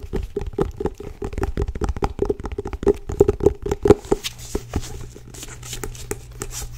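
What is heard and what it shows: Long nails tap and grip the cover and spine of a held-up, solid, medium blue-grey cloth-bound hardcover book. Quick, dry, close tapping with a hollow mid tone fills the first four seconds, then gives way to quieter scratchy gripping and brushing sounds.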